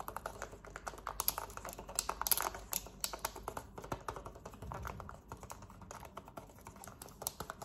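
Long nails rapidly tap and scratch the buttons of a small, hollow, black plastic Samsung TV remote. The result is a dense stream of quick, dry plastic clicks with a bright high edge, each dying away almost at once. Brief scratchy rustles sit between the taps.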